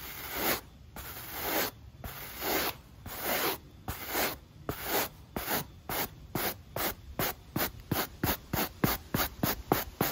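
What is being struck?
Rubber sneaker sole and stiff bristle brush.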